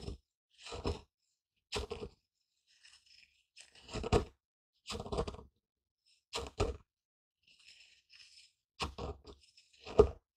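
A wooden pestle, held in one fist, grinds and pounds pale ground seeds or grain in a small, light, hollow wooden mortar held steady with the other hand. Short bursts of dry, crunchy grinding alternate with brief silences, each carrying a low, hollow wooden thud around 400 Hz. The strokes are dull and damped, with no ringing after each one.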